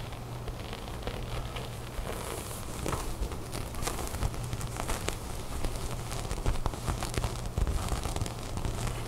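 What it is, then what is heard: Knit sweater being tapped and scratched. Fingertips and long nails tap and scratch the bunched fabric of a folded cream knit sweater on a table. The result is a steady run of quick, soft taps mixed with dry, crackly scratching and rustling, over a constant low hum.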